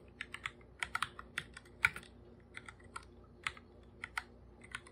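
Bare fingertips type on a full-size black plastic computer keyboard with plastic keycaps, its hollow body giving each tap a light clack. About 18 short, bright clicks come at an uneven typing pace, each dying away almost at once, with one slightly harder stroke near the middle. A faint, steady low hum sits underneath.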